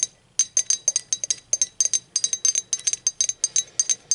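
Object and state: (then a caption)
Ceramic mug. Long acrylic nails tap a hollow, speckled teal ceramic mug lying on its side, striking both its glazed wall and its unglazed base. About 26 quick, bright, clicky taps come in uneven bursts over four seconds. Each one has a high, glassy ping that dies away almost at once.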